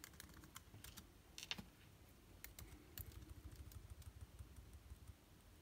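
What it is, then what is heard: Plastic laptop keyboard. Fingertips type slowly on the plastic keys of a backlit MacBook Air keyboard, producing a loose series of short, bright clicks with some soft rustle between them. A low, steady rumble sits underneath the quiet tapping throughout.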